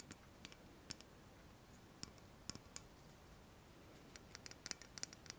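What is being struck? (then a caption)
Slim metal tube, pen-like. Long nails tap and click along a slim, shiny metal pen-like tube about 12 cm long, shaped like a pen or lipstick case and held horizontally in both hands. About eighteen short, bright clicks come in irregular bursts, denser toward the end, each dying instantly with no ring over a quiet, steady hiss.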